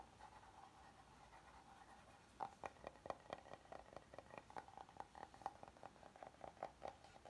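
Nails scratch softly across a flat, oval, solid wooden serving board, giving a steady, quiet rasp. After about two and a half seconds, fingertips start tapping along its edges and face, making a quick series of short, dry knocks with a woody mid-range tone that dies away almost at once.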